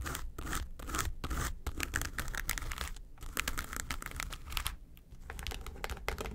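Long nails scratch and tap across the front and lid of a flat, hollow yellow case covered in textured faux leather. Dense, gritty scratching comes in bursts of bright rasping strokes, broken by quick tapping clicks, with a low hollow rumble underneath and short pauses between passes.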